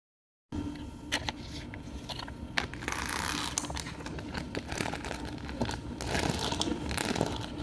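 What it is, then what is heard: Plastic pearl sticker sheet. Long nails and fingertips scratch and rub across rows of small multicolored adhesive plastic half-pearls on a flat, clear plastic sheet held in the hand. The result is a dense, continuous clicking and crackling texture with bright, sharp ticks over a low rumbling bed. A short silence opens the clip, and the sound grows busier and more scrapy toward the middle and end.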